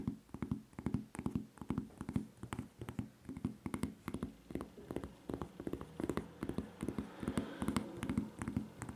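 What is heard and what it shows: Long nails tap and scratch close up on the serrated footbed of a white rubber flip-flop with a red Levi's print and a red strap. Quick, dull taps come in an uneven stream over a low, muffled scraping texture, each tap dying away almost instantly.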